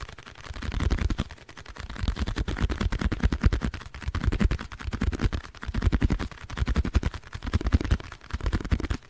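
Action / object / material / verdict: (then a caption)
tap / small cardboard box / cardboard / none. Fingernails tap rapidly on a small, hollow, printed blue cardboard box with a multicolored side, held in the hands. The taps come as a dense stream of dull, low, hollow thuds in swelling bursts, each tap dying away almost instantly.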